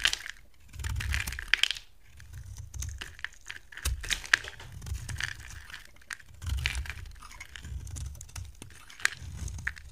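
A box cutter blade shaves brittle flakes off a solid, dry, rectangular purple bar soap with gold edging, held in the hand. Crisp, bright scraping and crackling cuts come in short bursts, with soft low rumbling under them.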